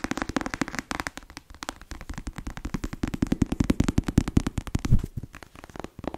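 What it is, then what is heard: Paperback book. Long nails rapidly tap and scratch the cover of a closed, solid black paperback novel. The taps are dense, uneven and crisp, with dull low thumps, no ring, and brief scratchy passages in between.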